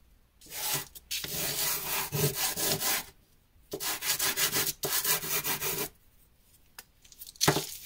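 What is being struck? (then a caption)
Drawing carbon block on canvas. A small, solid, dark grey charcoal-like drawing carbon chunk, held in the fingertips, is rubbed in strokes across a cloth or canvas sheet, leaving black lines and loose powder, with other carbon pieces lying to the side. Dry, bright, scratchy rasping comes in long bursts of stroking separated by short pauses.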